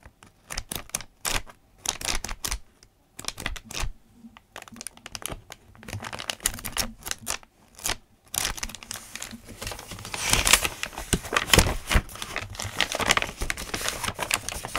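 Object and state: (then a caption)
Paper notebook. A thick paper notebook with handwritten pages has its pages flipped and rubbed with the fingers. Short, crisp papery rustles and swipes come in separate bursts with quiet gaps at first. After about eight seconds they merge into denser, brighter continuous rustling that grows louder.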